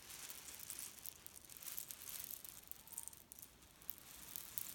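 A grey leaf-print cotton pillow filled with cherry stones is held in the hand and squeezed, then pressed on a bed so the pits shift against each other. The result is a quiet, steady, bright rattling and crunching that swells and eases with each press, with almost no low end.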